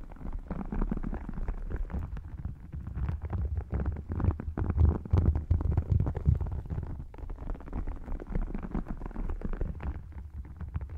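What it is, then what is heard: Faux crocodile leather wallet. Short nails scratch and tap across both panels of an open, thin, flat red faux crocodile leather wallet with a croc-textured surface. The sound is a dense run of soft, muffled scratches and quick taps, deep and low-heavy with almost no bright edge. The taps come in an uneven, continuous stream.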